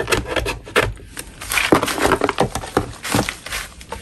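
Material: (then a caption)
Chalk. A metal spatula scrapes a solid natural chalk block, knocking powder off it. Repeated short, dry, gritty scrapes come in uneven bursts with a bright, rough hiss above a low-mid body.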